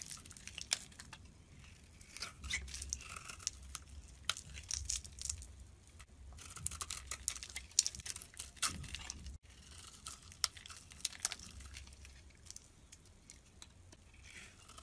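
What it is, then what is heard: Bar of soap being carved. A solid orange soap bar with a cream interior is held in the hand and shaved with a metal blade. Each cut gives a crisp, bright, crackling scrape, with brief flakey ticks over a faint low hum. The shaving stops briefly partway through, then the quieter scraping resumes.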